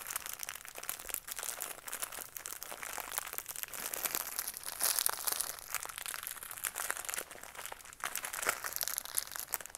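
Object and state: Plastic blister package on cardboard.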